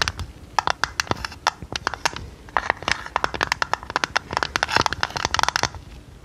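Long red nails tap and scratch the sides and lid of a hollow, hand-sized, square decorated tin canister made of printed metal. The result is a rapid, irregular run of sharp, dry, bright clicks with no ring, over a faint scratchy rustle.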